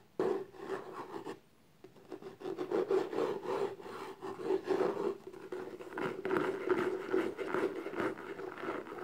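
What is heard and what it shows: Long nails scratch and rub the lid of a small, closed, hollow black textured cardboard gift box held in the hand. Rapid scraping strokes repeat almost continuously with a steady hollow resonance, pausing briefly near the start before resuming.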